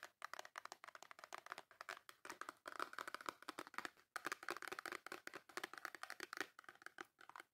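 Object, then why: Small cardboard soap box. Long nails tap and scratch the top and front of a small, full, white cardboard Dove soap box. The result is a rapid run of crisp, dry clicks and papery scrapes with a bright midrange and almost no low end, and each tap dies away instantly. There are brief pauses between bursts.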